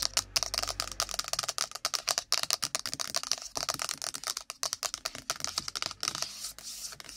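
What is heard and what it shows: Long nails tap fast on an iPhone's cardboard box, producing about three dozen rapid, dry, bright clicks that die away almost instantly. Toward the end, the taps blur into a softer, continuous scratchy rustle.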